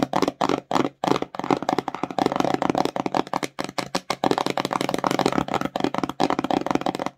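Long nails rapidly tap and scratch the front of a small, empty, glossy printed cardboard slime box held in both hands. The result is a quick stream of dry, clicky taps and papery scratches, centered in the midrange with little low end and almost no ring after each hit.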